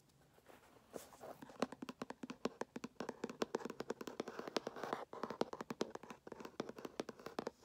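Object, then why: Closed cardboard box. A small, closed and hollow Samsung Galaxy S5 retail box made of kraft-look cardboard is tapped with fingertips and medium nails, first while resting on carpet and then lifted. The result is a quiet stream of rapid, dry, hollow taps with a mid-range pitch and almost no ring, broken by a brief pause near the five-second mark.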